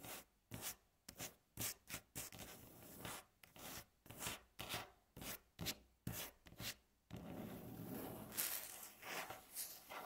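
Long natural fingernails on both hands tap and scratch a flat, solid, light-coloured wooden tabletop. For the first seven seconds, short, separate bursts of dry, bright scratching and tapping come in an uneven rhythm. The sound then turns into a steady, continuous rasping scrape until the end.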